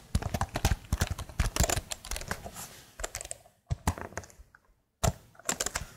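Long nails tap the plastic keycaps of a plastic laptop keyboard held vertically, one-handed. Quick bursts of dry, clicky taps with a low thump and bright edges stop short. A near-silent pause comes before the tapping resumes.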